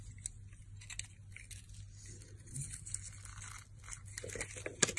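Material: Soap.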